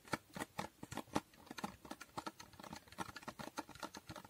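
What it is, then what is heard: Cardboard box. Long nails rapidly tap and scratch a small hollow cardboard box with a holographic foil finish. The result is a quick, uneven series of dry, short clicks and papery scrapes with almost no ring, centered in the low mids around 300 Hz.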